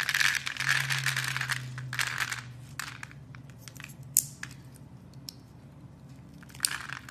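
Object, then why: Bar of soap cut with a metal blade. A solid lilac soap bar, held in a hand with long nails, has its scored cubes cut away by a metal blade. Dense crisp scraping and crumbling fills the first couple of seconds over a low steady hum, then thins to sparse bright ticks and small cracks, with a sharp snap near the end.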